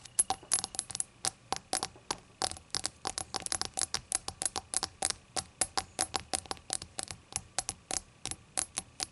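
Long green acrylic nail tips tap a small hollow glass or ceramic shot glass with a glossy opaque rainbow glaze, lying on its side on a white towel. Around forty quick, bright, clicky taps come in an irregular stream, each one sharp and high with almost no ring.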